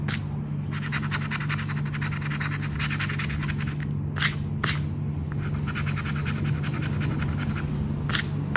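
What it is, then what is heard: Paper scratch card being scratched. A flat paper "10 para ganhar" lottery scratch card, held down by the fingers, has its coating scraped with the edge of a red and gold token. Quick, repeated back-and-forth scratching strokes make a dry, bright rasp over a steady low hum. A few harder scrapes stand out briefly near the middle and end.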